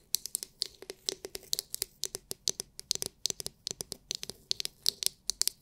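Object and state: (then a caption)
Plastic massage brush tapped with nails. A palm-sized oval massage brush with a hard, clear, glitter-filled plastic dome is scratched and tapped by long nails. About 34 quick, dry clicks and scratches come in an irregular rhythm, bright and crisp with almost no low end. Each one stops almost instantly, with a faint steady tone near 370 Hz underneath.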